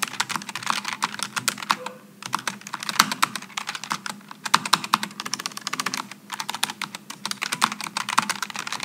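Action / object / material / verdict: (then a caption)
tap / low-profile mechanical keyboard with aluminum and plastic / aluminum, plastic / none. Fingertips type continuously on a Logitech G915 low-profile mechanical keyboard with aluminum and plastic keycaps, producing a fast stream of bright, sharp key-switch clicks. The clicks decay almost instantly, with brief pauses near 2 and 6 seconds before the typing resumes.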